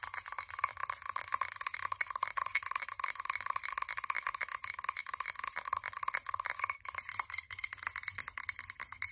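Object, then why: Glass candle jar. Long acrylic nails tap quickly on the sides of a blue frosted glass candle jar held in both hands. A dense, steady stream of sharp, bright clicks with a faint glassy ring runs throughout, each tap dying away almost instantly.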